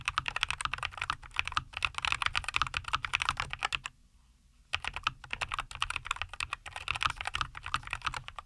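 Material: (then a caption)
Plastic. Both hands type continuously with their fingertips on a compact 75% NuPhy Air75 V2 mechanical keyboard with linear Cowberry switches, a white case and green and white plastic keycaps, resting on a wooden desk. Rapid, bright, crisp clacks with very short decay run steadily, stop for a brief silence just before the midpoint, then resume at the same pace to the end.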